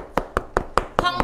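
A stick knocks on a ripe, ready-to-eat Pa La-U Monthong durian, a check for ripeness where a ripe fruit should sound hollow. Six short, dry taps ring out evenly spaced with a mid-pitched, slightly hollow tone that dies away almost at once, and the fruit sounds ripe.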